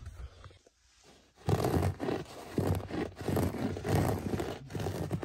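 A bare hand scratches and rubs the pile of a beige cut-pile carpet with a sculpted geometric pattern, laid on a floor, using fingertips and short nails. After about a second and a half of near silence, dense, rough, low scratching strokes set in, rising and falling in repeated bursts with little brightness.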